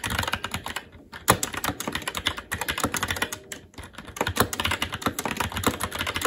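A SteelSeries Apex 7 TKL mechanical keyboard, with plastic keycaps on a metal top plate and Red linear switches, is typed on quickly and continuously with the fingertips of both hands. The result is a dense stream of sharp, bright plastic clacks with short, dry decay, broken by brief pauses around the first and fourth seconds.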